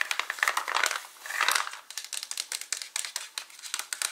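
Fingertips and short nails tap and scratch the white plastic lid of a hollow, partly full, translucent plastic H-E-B gummy vitamin bottle. The result is a rapid run of dry, crisp clicks and scratchy crinkling with no low end, bright and sharp with almost no ring, with a denser scratching swell early on before the taps space out.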